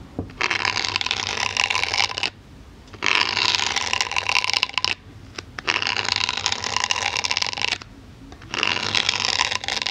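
A pink-handled needle tool gently pokes a solid white polyethylene foam block now and then. It makes bright, dense, scratchy crackling in four long stretches separated by short near-silent pauses, with almost no low end.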